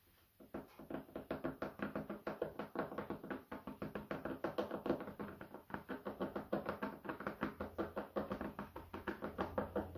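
A light, solid, flat wooden cutting board held in the hands is knocked and tapped with fingertips. A steady run of quick, dry, hollow knocks sounds, each dying away almost at once, with a woody midrange tone and little high end.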